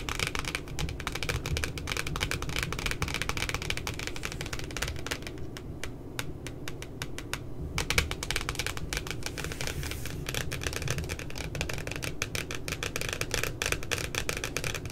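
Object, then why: Laminated cardboard notebook cover. Long glitter-polished nails tap and scratch the glossy, laminated cardboard cover of a pink spiral-bound notebook printed with two puppies, with the cover lying flat and solid. Rapid, dense, bright clicks and short scratches run steadily over a low rumble, easing briefly in the middle before picking back up.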